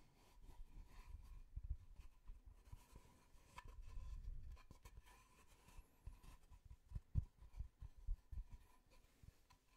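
Fingertips scratch and tap along the face and edge of a solid, plate-sized wooden tree-slice disc with growth rings. Quiet, dull, low scratching rubs mix with soft, short taps that stop at once with no ring, and the tapping grows more pronounced toward the end.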